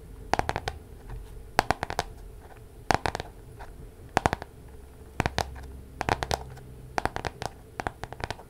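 Long nails scratch the card cover of a spiral-bound paper weekly planner with metal binding, held in both hands. Short, dry scratching strokes come in about eight quick bursts, each a tight run of crisp clicks and rasps with a bright edge, over a soft low rumble.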